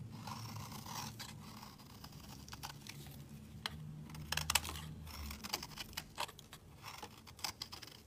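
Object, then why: Soap bar scraped with a knife blade. A utility knife blade scrapes a solid, hand-sized pale yellow soap bar held in the hand, shaving off fine curls. Soft, steady scraping strokes carry a bright, papery hiss, broken by sharp little clicks and crisp snaps as the blade catches. A low, steady rumble sits underneath throughout.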